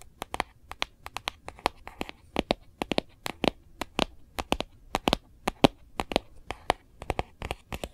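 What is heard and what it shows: Long glossy nails tap and scratch the back of a phone in a hard plastic Kate Spade case held upright. Dozens of sharp, dry, bright clicks come in quick, uneven succession with a faint scratchy rustle between them. Each tap stops at once with no ring.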